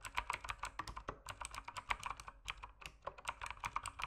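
Fingertips type steadily on an RGB mechanical keyboard with plastic keycaps, producing a quick stream of sharp, clacky keystrokes. Each tap is short and dry, centered around 1 kHz with bright upper clicks and a light low thud beneath.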